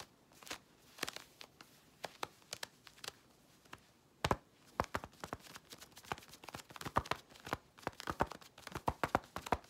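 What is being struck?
Synthetic stretch fabric leggings.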